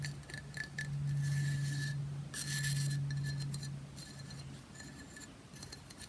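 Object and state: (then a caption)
Pressed bath bomb brick. Long fingernails tap quickly and scratch across the grid-patterned top and side edge of a hand-sized, rectangular solid pressed bath bomb brick held in one hand. Rapid dry clicks run together with bright, gritty scraping bursts over a steady low hum.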